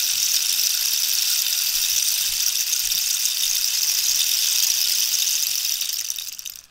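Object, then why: Cactus wood rainstick. A hollow cactus-wood rainstick, held diagonally, has its spiny surface scratched and tapped with long nails. A steady, bright, hissing rustle fills the high range, with faint low taps beneath it. The sound holds even for about six seconds, then fades out.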